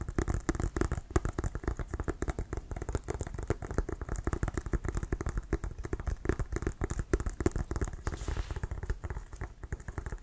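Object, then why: Inflated leather American football. Fingertips tap and nails scratch around the laces of a brown Wilson leather American football, which is hollow and inflated. The result is a rapid, continuous stream of short, dull, low thumps with soft scratchy crackle over them and a brief brighter scrape near the end.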